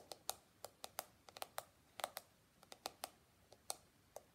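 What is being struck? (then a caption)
Plastic hairbrush with flexible bristles. Fingertips and nails scratch and flick across the flexible plastic bristles of a small handheld pink and white plastic detangling hairbrush with a hollow shell, and tap its back. Seventeen quiet, sharp clicks and flicks come in an irregular rhythm, each dying away almost at once. The clicks have a bright, hollow plastic tone centred around 770 Hz, with no low end.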